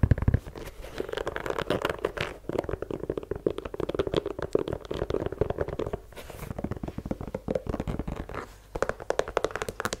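Fingernails rapidly tap and scratch the rubber sole of a white leather sneaker held sole-out close to the microphone. The sound is a dense stream of short, dull, low-heavy taps with scratchy rubbing between them, each tap dying away almost at once. There are brief pauses around the middle and near the end.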